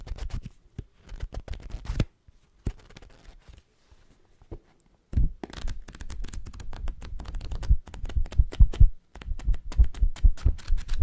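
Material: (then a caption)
Paper. Long acrylic nails grip the page edges of a thick, dark-covered paperback novel held close to the microphone and riffle its paper pages quickly. Dense papery flutters and soft, low thumps come in bursts, go quiet for a few seconds, then return as a louder, continuous run of rapid page flips.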